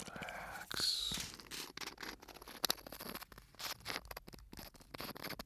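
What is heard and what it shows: A small clear glass bottle with an aluminium screw cap, full of fine white sand, is held in the fingers close to the microphone, tilted and shaken while the fingers rub on the glass. The sand makes bright, hissing rushes and a string of crisp, scratchy ticks and taps, with almost no low end and no ring after each sound.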